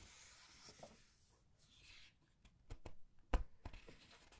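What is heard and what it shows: Fingers with long nails turn and squeeze the glossy paper pages of a large art book. A soft, airy rustle and slide gives way to several sharp, dry taps and crinkles, all very quiet and close.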